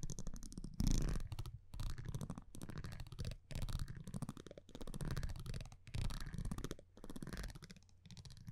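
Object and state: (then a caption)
Cardboard trading card being scratched. A metal tweezer-like tool scratches and taps across the front of a thin printed cardboard baseball card held in one hand. It makes dense, low, muffled rasping in bursts of about a second each, separated by brief silences. The sound is mostly deep and dull with little brightness.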